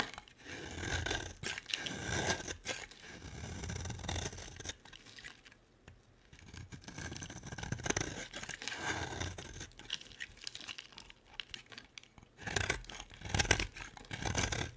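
A solid black-and-white striped bar of soap, held in the hand, is scraped with a utility-knife blade, shaving it into dark flakes. Long, gritty scraping strokes with a bright, crackly edge come in bursts separated by quieter pauses.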